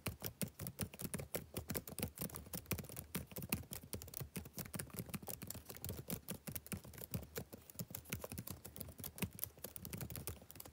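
Fingertips type steadily on the black plastic keys of a backlit laptop keyboard. A rapid, continuous stream of soft, short clicks with dull low thumps and brief bright ticks continues evenly throughout.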